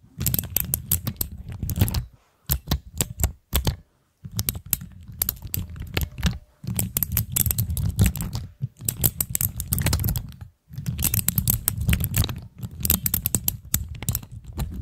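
Long nails tap and press the keycaps of a plastic keycap fidget cube with mechanical switches, with some nail scratching across the caps. Rapid, dry clicks come in dense bursts separated by short silences, each with a low thock under a bright, crisp tick.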